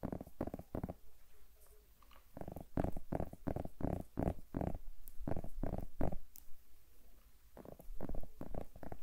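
A whole, solid green zucchini held in hand near the microphone is tapped and scratched with long manicured nails. The result is a run of soft, dull, low thuds with quick decay, grouped into bursts, separated by quieter scratchy rustling, and a few brief bright clicks.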